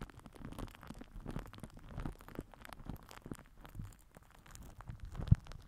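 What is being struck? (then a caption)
Plastic film wrapped over a microphone. A microphone head wrapped in crinkled purple plastic film is rubbed and pressed with the cap end of a plastic glue stick held in the fingers. The result is a steady, quiet, low, muffled crinkly scraping and rustling, with one sharper, louder pop near the end.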